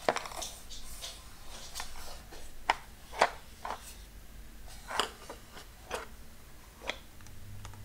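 Fingertips and nails tap along the top of a long, narrow brown cardboard box with a label, held in the hand and closed with tools inside. The result is a series of short, dry, hollow taps with bright clicky edges, spaced irregularly and dying away almost instantly over a faint low background hum.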